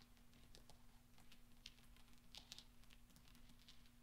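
Fingertips and nails press small solid steel pachinko balls together on black velvet, producing soft, scattered clinks and ticks. Each contact is a brief, bright metallic tap ringing near 3.7 kHz and fading almost instantly. The taps sit over a quiet, steady low hum and rumble.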